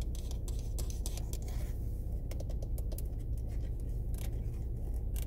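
Long red-painted nails tap and scratch along a small, hollow black plastic windshield-wiper stalk on an SUV steering column and its ridged rotary switch. Quick, irregular bright clicks and scratchy scrapes repeat over a steady low rumble.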